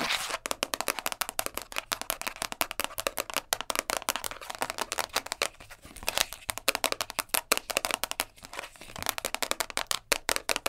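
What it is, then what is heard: Plastic container lid. Long nails tap quickly and scratch across a round purple plastic container lid, first lying flat and then held. The result is a dense, rapid stream of crisp, bright clicks and scratchy rustles with almost no low end and no ring after each tap.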